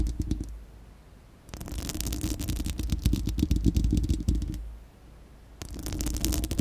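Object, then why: Steel mesh microphone grille. Long acrylic nails on both hands scratch a bare, round, hollow steel-mesh microphone dome grille, making rapid, gritty scratching bursts with a heavy low rumble and a bright, crackly edge. A short burst at the start gives way to a quiet pause, then about three seconds of dense scratching, another pause, and a final burst.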